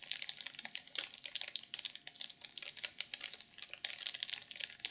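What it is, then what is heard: Sequin-covered journal in plastic wrap. Long purple nails tap rapidly on a black sequin-covered journal sealed in clear plastic film. Quick, bright, crinkly clicks with a high, papery hiss and no low end come in a dense, uneven stream.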